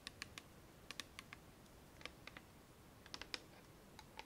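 Fingernails tap the bottom and the white plastic cap of a clear plastic bottle of micellar water with liquid inside. About sixteen quiet, sharp, bright clicks come in irregular clusters. Each tap stops almost at once, with little low-end body.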